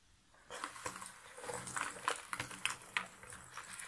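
Two hands with long nails scratch and rake through a pile of cardboard jigsaw puzzle pieces in a shallow box lid. After a brief near-silence, a steady, dry rustling clatter starts, with irregular, bright clicks and scrapes standing out as the pieces shift and knock together.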